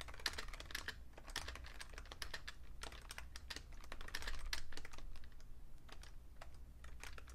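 Fast fingertip typing on a vintage beige plastic Fujitsu Siemens computer keyboard, with a magazine lying still beside it. Quick, uneven clicks and clacks run through the whole clip with a bright edge, over a steady low hum underneath.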